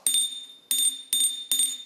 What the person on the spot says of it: it sounds like glass but I've given it a whack a couple of times and it's it's not shattering